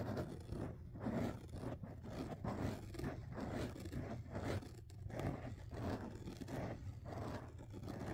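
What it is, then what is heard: Foam microphone windscreen being scratched. Fingertips scratch and rub the black foam windscreen covers on a dual-mic rig, held in both hands. The result is a continuous, muffled, low rustling and scraping with rhythmic swells from repeated strokes, heavy in the low end with almost no bright content.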